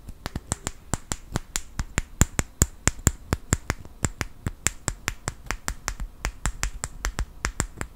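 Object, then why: Small wooden clothespin with metal spring. A small solid wooden clothespin with a metal spring, held close to the mic, is clicked and tapped with fingertips and nails. About 36 sharp, dry clicks come in a quick, uneven stream, each gone almost instantly, over a faint low hum.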